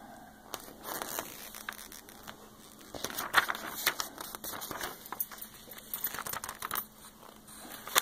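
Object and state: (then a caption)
Glossy magazine pages. Fingertips with long painted nails trace across the thin, glossy, coated pages of a large open beauty magazine lying flat, then lift and turn several pages. The sound is a dry, bright crinkling and crackling, with soft rustling brushes broken by short, sharp paper snaps and almost no low end. Each crinkle stops quickly with no ring.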